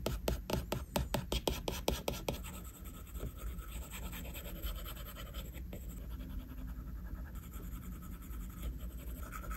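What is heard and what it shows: A plastic stylus tip draws repeated shading strokes on a flat glass iPad screen. A quick run of crisp, evenly spaced taps gives way to a steady, soft scratching that continues for several seconds.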